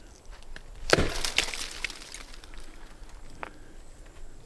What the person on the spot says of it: give this a bang on this tree here. pretty dull thud.